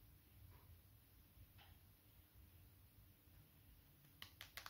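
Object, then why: Glass-screened smartphone. A small, solid, dark smartphone with a glass screen, held in the palm, is tapped with fingertips and short nails. After a stretch of quiet low hiss with a couple of faint soft touches, five sharp, bright clicking taps come quickly at the end.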